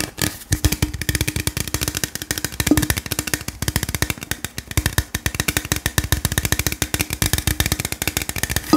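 A tall, hollow gold aluminium beverage can is held in the hand and tapped rapidly with the fingertips. It gives a quick, steady stream of short, dry taps with a hollow tone near 300 Hz, a thumpy low end and a bright metallic tick, each tap dying away almost at once.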